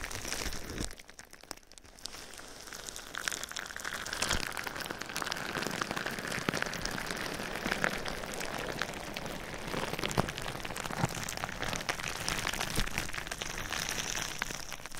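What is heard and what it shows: Clear plastic bubble wrap wrapped over a microphone is tapped and scratched with fingertips and nails. The result is a dense, continuous crinkling patter of soft taps and bright scratchy rustles, like rain on a surface, with a brief quieter dip near the start.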